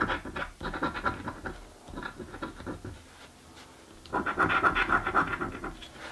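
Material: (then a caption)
Card. A coin rapidly scratches the coating off a thin card "Mystic Riches" scratch-off lottery ticket lying on a dark table. Quick, rhythmic bursts of dry, raspy scraping sit in a midrange band around 1.4 kHz. The strokes ease off into a quieter stretch midway, then return louder and denser toward the end.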